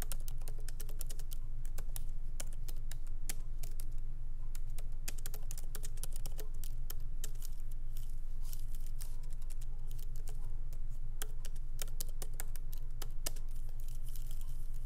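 Light fingertip typing with both hands on a MacBook Pro laptop keyboard, with small plastic keycaps set in an aluminum body, resting on a wooden desk. It makes a steady stream of short, bright clicks in an uneven rhythm over a constant low hum.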